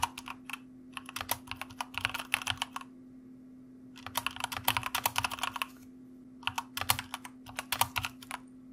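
Fingertips of both hands type on the plastic keycaps of a white mechanical computer keyboard. Three bursts of quick, bright clacking keystrokes are separated by short pauses, over a faint steady low hum.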